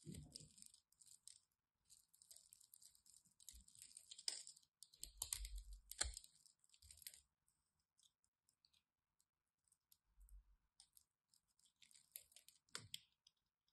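A solid orange-and-white striped bar of soap is scored with the tip of a craft knife, giving soft, crisp clicking cuts. The scrapes carry bright, high crackle and faint low thumps, coming in irregular bursts separated by short quiet gaps.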